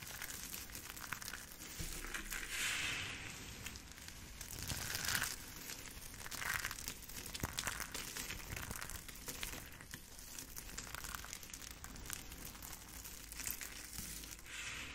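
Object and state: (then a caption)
Crushed soap chips. Hands with long pink nails grab, squeeze and crumble a pile of dry, multicolored crushed soap chips between fingers and palms. The result is a steady, dense stream of bright, crisp crunching and crinkling as the flakes rub together, swelling in a few louder squeezes.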